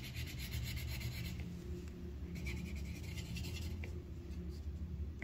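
The tip of a yellow wooden colored pencil scratches and rubs across a thin white paper sheet on a clipboard, filling in a petal. Quiet, steady rasping strokes come in bursts with a bright scratchy texture over a soft low rumble, pausing briefly before the rubbing resumes.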